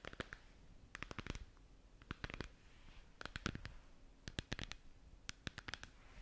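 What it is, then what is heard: Plastic moon lamp globe tapped with nails. Long nails tap and scratch around a hollow, glowing plastic moon lamp sphere held close to the mic. Quick, bright clicking taps come in irregular clusters, with soft scratchy rustling between them. The sound stays quiet and intimate throughout.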